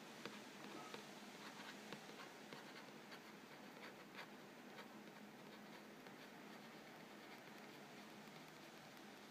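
Fingernails scratch and trace the lower front panel of a hollow, printed-cardboard Vegetable Thins crackers box filled with crackers. The result is a quiet, continuous dry scratching texture with occasional brighter flicks, over a faint steady low hum.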